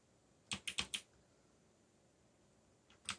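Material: Plastic.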